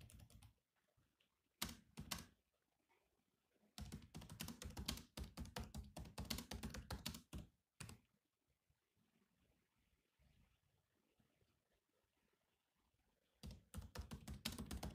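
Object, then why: Laptop keyboard with plastic keys. Fingertips type on a grey laptop keyboard with black plastic keys, making quick, clicky plastic taps with a low thump and a bright tick. The typing comes in rapid bursts broken by quiet pauses, with a long gap in the middle before a final flurry.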